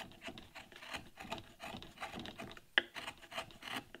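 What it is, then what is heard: Wooden relief carving panel. A carving knife cuts and scrapes a damask rose leaf in relief on a solid light-wood carving panel, with chips scattered around. Short, dry rasping strokes repeat in quick succession with a bright, scratchy edge and little low end. One sharp click stands out near the end.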